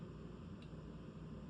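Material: Nothing is struck.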